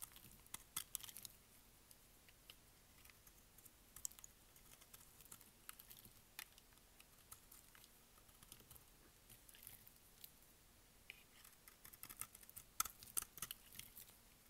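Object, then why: Bar of soap cut with a utility blade. A utility blade shaves and scrapes pieces off the corners of a solid, dry pink bar of soap held in the hand. The result is a quiet series of short, crisp, high-pitched scratches and crackles, with no ring after each stroke. The strokes come in scattered bursts that grow denser near the end.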